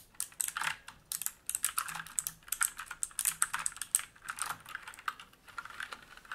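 Fingertips type and press keys across a black mechanical keyboard with plastic keycaps and a metal top plate and frame, resting on a wooden desk. Rapid bursts of short, bright clacks come in uneven runs with brief pauses, and each keystroke dies away almost instantly with very little low end.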